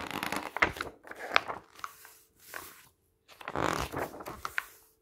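A flat hand and fingertips press, rub and turn the pages of an open glossy paper magazine lying on a table. Bursts of crisp rustling and crinkling come in waves, with sharp bright snaps as the pages flex and squeeze, separated by short quiet gaps.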